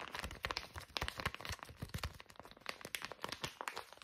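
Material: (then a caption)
Soft plastic. A small, soft white-and-green plastic pouch of facial wipes is held flat in both hands and scratched and tapped with long fingernails, making it crinkle. A quick, uneven run of crisp, scratchy taps and crackles sounds throughout, bright and dry with almost no ring.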